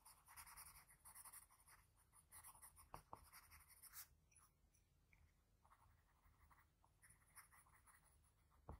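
A sharpened graphite pencil scratches short lines around the nose of a sketch on a flat sheet of white drawing paper. It makes soft, dry, bright scratching strokes in quick bursts, with a few sharper taps. The strokes are busiest at the start, then thin out and grow quieter before picking up again near the end.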